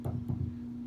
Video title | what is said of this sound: Epiphone Les Paul NO-SOLDER Pickup Swap | we're going to tap on the screws and you hear the thump